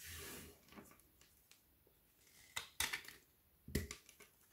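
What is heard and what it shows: A metal knife blade scrapes along the edge of a large, flat, frozen milk chocolate bar with banana and cacao filling, held solid in hand over a wooden table, shaving off curls of chocolate that pile up on the table. A bright, hissing scrape opens the clip, followed by quiet scratching and then a few sharp, crisp cracks with almost no ring.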